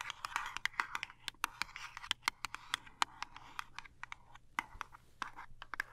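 Long nails tap and scratch the end and face of a small cardboard toothpaste box. A quick, irregular run of sharp, dry clicks sits over a soft, bright scratching hiss, with each tap dying away at once. The result is quiet, crisp and papery, with almost no low end.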